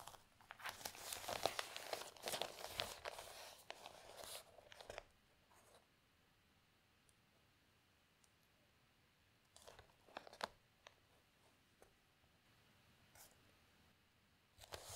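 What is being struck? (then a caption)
Newsprint newspaper. A newsprint newspaper section is held in both hands as its pages are lifted, folded over and crinkled, giving a dense, bright rustling and crackling for the first five seconds. Near-silence follows, broken by brief, sharp paper crinkles around ten seconds, once more a little later, and again at the very end.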